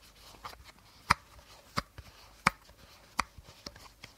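Short nails tap and scratch the body of an empty, hollow clear plastic bottle with a teal cap, held sideways. Sharp, light clicks around 1.3 kHz with a bright edge ring out briefly at an uneven pace, over faint scratching and rustling.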